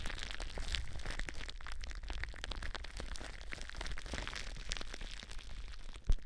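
Long blue nails scratch and crinkle the air bubbles of clear plastic bubble wrap wrapped around a microphone. The result is a dense, steady stream of crackling and crinkling snaps over a low rumble, ending with one sharp, louder pop near the end.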